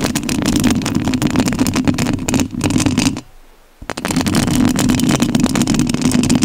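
Long nails scratch the metal mesh grille of a rhinestone-covered studio microphone, giving a dense, rough scratching with a strong low rumble around 250 Hz and a gritty high hiss. The scratching breaks off into near silence for about half a second just past the midpoint, then starts again at full loudness until the end.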